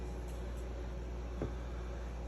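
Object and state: Nothing is struck.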